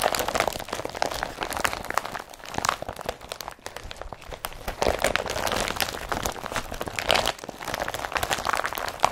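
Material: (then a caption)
Polypropylene. An empty blue IKEA BRATTBY carrier bag made of woven polypropylene is pressed and rubbed with the fingertips and palm. This produces a steady stream of dry, crinkly crunching and scratchy rustling, with brighter bursts of crackle that swell and fade as the pressure changes.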